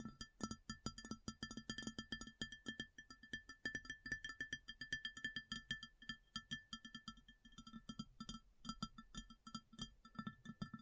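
Long fingernails tap rapidly and continuously on an empty, large, round white ceramic plate. Each short, crisp click carries a low body tone and faint bright ringing overtones that fade almost at once.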